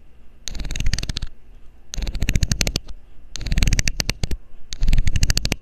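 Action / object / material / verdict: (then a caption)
scrape / plastic screw cap scraped along its ridged edge with a metal needle / plastic / none. A metal needle scrapes the ridged edge of a loose, hollow blue plastic screw cap held by the fingers over the mic. Four bursts of rapid, dry ticking clicks come through, with bright crackle over a low, thumpy handling rumble and short pauses between bursts.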